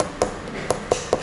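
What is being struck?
Resin artificial stone countertop sample.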